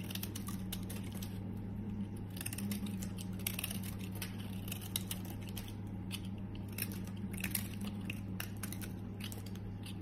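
A metal utility blade scrapes and shaves curls from a solid green rectangular bar of soap held in the hand, dropping the shavings onto yellow soap crumbs below. A steady run of quick, dry scraping and crisp cutting strokes carries high, bright crackles over a constant low hum.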